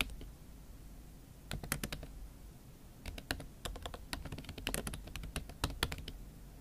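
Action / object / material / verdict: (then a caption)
tap / laptop keyboard with silicone cover / silicone / none. A MacBook Pro keyboard covered with a pink silicone skin is typed on with fingertips and long acrylic nails. After about a second and a half of quiet low hum, irregular bursts of short, sharp, bright clicks and taps follow in quick runs, each dying away almost instantly over a steady low background.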